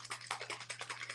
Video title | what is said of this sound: Let's paint the third FREE bonus file together! | very thin it just when you shake it you can hear it it's all liquidy